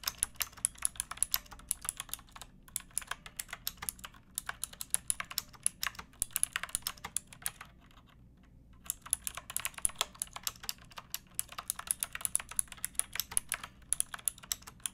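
A pink backlit plastic mechanical keyboard with round typewriter-style keycaps and a hollow case is typed on with fingertips and long painted nails. Quick, bright, clacky keystrokes run steadily, with short pauses near 2.5, 4.2 and 8 seconds, over a faint low hum.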